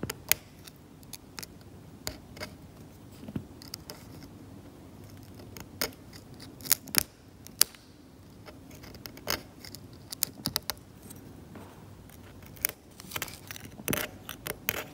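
A metal scalpel blade scrapes cracked brown varnished paint off an oil painting on canvas, lifting flakes and exposing the grey ground beneath. Many short, sharp, bright scratching clicks come in irregular bursts over a low, steady hiss, each stopping almost instantly.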